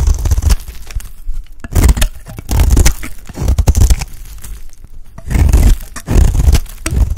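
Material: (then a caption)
Soap. A utility blade scrapes flakes off a solid, dry, light-green oval bar of soap held in the hand. Repeated rough, crackling scraping strokes come in bursts with a heavy low rumble, separated by quieter pauses.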